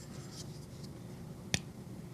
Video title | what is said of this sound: Unboxing a new QSP design… the Kestrel knife. A definite budget consideration. | hear that that lock stick is there for sure